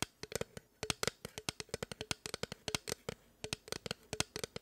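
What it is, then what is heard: Aluminium rail scratched with nails. Long acrylic nails of both hands scratch along a long gray perforated aluminum rail, a rigid metal profile held horizontally. About 30 quick, bright scraping strokes and clicks come in an irregular rhythm, each dying out almost instantly with little ring and a faint metallic tone around 500 Hz.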